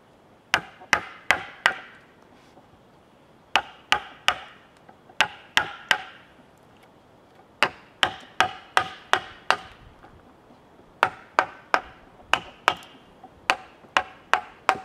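A wooden mallet hammers a chisel into the end grain of a large solid cedar log, producing 25 sharp, dry knocks with a bright woody crack. The knocks come in bursts of three to six with quiet pauses between them, and each dies away almost at once.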